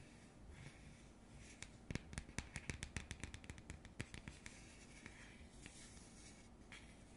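Long nails scratch across the printed surface of a round cardboard coaster held flat. Soft rustling gives way to a quick, uneven run of sharp, bright scratching ticks, which then fades back to a quiet, low background hiss.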